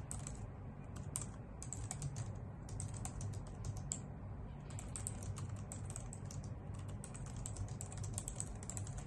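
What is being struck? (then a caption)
Plastic computer keyboard typed on with nails and fingertips. Long nails and fingertips type steadily on a white full-size plastic computer keyboard with hollow key caps. The result is a continuous stream of quick, bright, clicky taps that die away almost instantly, over a steady low rumble.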